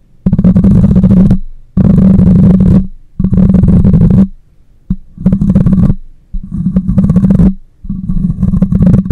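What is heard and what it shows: Long nails scratch and fingers rub across the metal mesh grille of a black microphone, producing close, heavy, low-pitched rumbling scrapes with a steady hum-like tone near 190 Hz. The sound comes in seven separate bursts, each about a second long, with one very brief, separated by short silent pauses.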